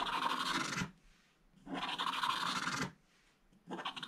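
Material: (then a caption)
Coated paper. A wooden stylus scratches the remaining black stripes off a flat scratch-art book page with a black coating over gold foil, and at the end a hand sweeps across the page. Three long, dry, bright scratching strokes are heard, separated by near-silent pauses, with the last one cut off at the end.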